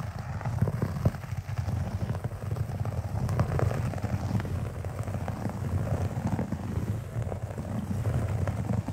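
Fingertips and short nails of both hands scratch a large beige synthetic carpet pile, the hands moving over the fibers. The result is a steady, dense, low rumbling scrape with many small crackling ticks layered on top, holding at an even level throughout.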